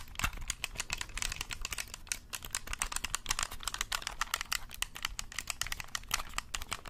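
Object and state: Plastic game controller.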